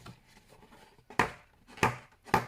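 A single page of a coloring book is flicked in a ping test, giving three sharp, crisp paper snaps with a bright, papery crack and a quick decay. The paper is very thick, feeling like two pages stuck together though it is only one.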